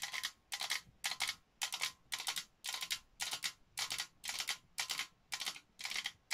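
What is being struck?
Printed metal tin canister.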